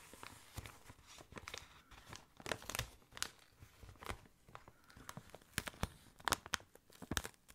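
Fingernails scratch and fingertips rub an inflated clear plastic air column cushion held close to the ear. The result is dry, bright crinkling and scratching with quick sharp bursts that die away almost instantly, over a quiet background.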